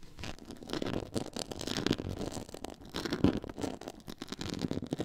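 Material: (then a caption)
Faux leather. Long nails scratch across a black quilted faux leather board with a pyramid texture, up close. The sound is a steady run of dry, rough scratching and scraping strokes with a bright, papery hiss, rising and falling in loudness without a clear pause.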